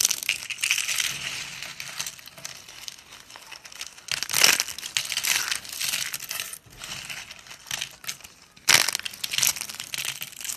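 Fingers grab, bend and crush a pile of wide, thin, pink dry soap shavings so they snap and crumble. The result is a dense, bright crackling and crunching with no low end, rising into sharper bursts of snapping at intervals.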